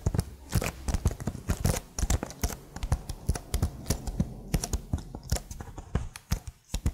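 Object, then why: Plastic laptop keycaps. Long nails tap rapidly and irregularly on the plastic keycaps of a plastic laptop keyboard held vertically. The result is a dense stream of short, dry clicks with a low, thumpy body and bright ticks on top, each fading almost instantly.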